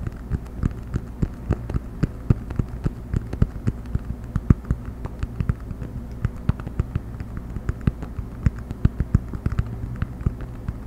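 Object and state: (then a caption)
Cork coaster. A round cork coaster held edge-up close to the microphone is tapped and scratched with fingernails, making a rapid, uneven run of short, dry clicks and taps. A low, steady hum sits underneath throughout.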